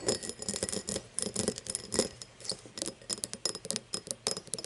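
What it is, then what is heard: Cut glass tumbler tapped and scratched with nails. Long nails tap and scratch the side and star-cut base of an empty, hollow cut-crystal tumbler lying on its side. Quick, bright clicking taps with very short ring come in uneven bursts, mixed with a thin, hissy scraping.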